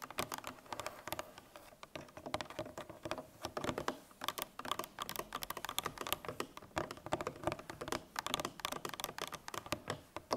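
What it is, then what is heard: Cardboard milk carton. Long painted nails tap rapidly on the top face of a 1 L Tetra Pak milk carton made of laminated paperboard, lying on its side on a table and likely full. The clip is a dense, uneven patter of short, dry, clicky taps centered in the midrange with a bright edge, very little low end, and almost no ring after each tap.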